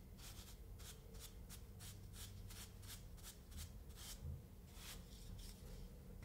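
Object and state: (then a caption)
Kinetic sand dome being brushed. A paint brush sweeps repeatedly across a small, solid molded dome of kinetic sand resting on a wooden board. Each stroke makes a soft, bright, gritty swish, close together in a steady rhythm over a quiet, low background rumble.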